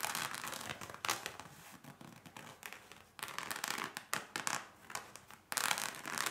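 Fingertips and nails tap and scratch the bib and waist of worn, soaked cotton denim overalls, the fabric soft and flexible. Dense bursts of bright, crinkly scratching and soft tapping come in uneven clusters with short dry pauses between them, and almost no low end.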